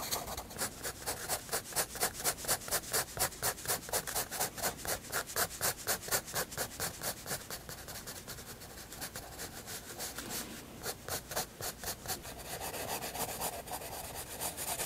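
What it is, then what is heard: Pencil shading on a paper sketchbook page. A graphite pencil shades a white paper sketchbook page with quick back-and-forth rubbing strokes, making a steady, bright, scratchy rasp with a rhythmic pulse. The strokes soften and blur together briefly in the middle, then pick up again toward the end.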